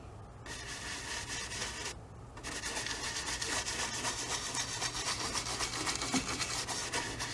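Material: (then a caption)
Cotton canvas. A wide bristle brush loaded with paint rubs and scrubs in short strokes across a medium stretched cotton painting canvas on an easel, hollow-backed on a wooden frame. The result is a steady, bright, dry scratchy rasp in a quick rhythm, with a brief quieter pause early on before the scrubbing grows slightly louder.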